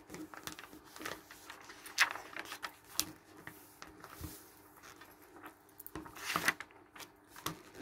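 Fingertips flip the thin pages of an open glossy paper travel magazine on a wooden table and rub them flat. Quiet, crisp papery rustles and bright swishes rise out of a soft, steady rubbing hiss, with a few sharper page flips standing out.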